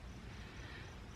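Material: Nothing is struck.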